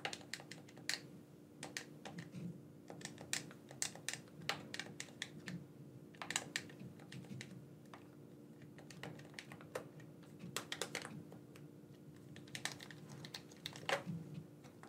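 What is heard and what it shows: Thumbs click the buttons of a black, wired, hand-sized hollow plastic gamepad held in both hands. Dozens of short, dry, bright clicks come in irregular bursts over a faint steady low hum, and each click dies away almost instantly.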